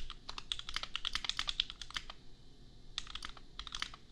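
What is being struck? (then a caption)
Plastic mechanical keyboard. A $250 custom 60% mechanical keyboard with Gateron Milky Yellow switches and red and white plastic keycaps, resting on an anime desk mat, is typed on with the bare fingertips of both hands. Quick, bright plastic clacks peaking around 3.4 kHz come in a rapid run for the first two seconds, pause briefly, then resume in a shorter burst. Each keystroke dies away almost instantly over a faint low hum.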